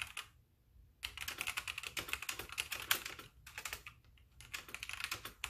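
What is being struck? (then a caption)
Plastic mechanical keyboard. Fingertips of both hands type continuously on a full-size white backlit mechanical keyboard with plastic keycaps. Its bright, short clacks come in quick bursts, with brief pauses between runs and almost no low end.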